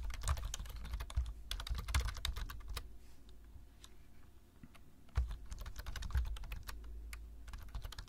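Fingertips of both hands tap steadily on the keys of a black plastic low-profile computer keyboard while typing. Rapid, short clicks and soft low thumps come in dense bursts, thin out briefly in the middle, then resume with a sharper keystroke and continue.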